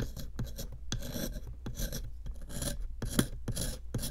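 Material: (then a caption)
Plaster. A small metal chisel, held in long-nailed fingers, repeatedly scrapes a small solid pink plaster excavation block sitting in a clear plastic tray. Quick rasping scrapes come in a steady rhythm, each burst bright and gritty over a low, quiet hum.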